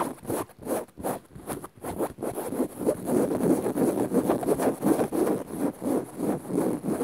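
Long rounded nails on both hands scratch dark woven fabric upholstery on a soft padded cushion or sofa. The result is a steady, fairly rhythmic run of soft, rasping strokes, centered in the low mids with a faint bright hiss on top. The strokes start out sparse and grow denser and louder after the first few seconds.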